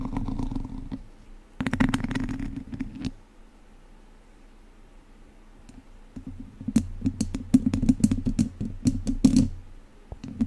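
Two wooden chopsticks scratch and tap a hollow domed metal wire-mesh microphone grille, producing bursts of dry, rapid clicking and scraping over a low, boomy resonance. A brief flurry at the start and around two seconds gives way to a quiet lull. A denser run of sharp, irregular taps and scratches then follows until near the end.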